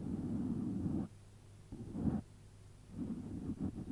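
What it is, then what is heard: Foam microphone windscreen. Fingertips with short nails rub and scratch the surface of a round, hollow, soft black foam windscreen over a microphone, using both hands. Close, muffled scratching comes in three bursts separated by quiet gaps, with low, dull rumble and little high content.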